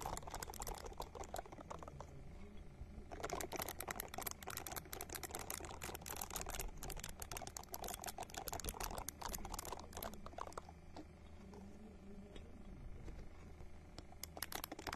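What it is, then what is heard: Silicone ball scratched with nails. A small, hand-sized purple silicone ball held close to the microphone is scratched with long nails, producing a dense stream of quick, crackly ticks and rustles with a steady low rumble underneath. The scratching is busiest from about 3 to 10 seconds, eases off briefly, then picks up again near the end.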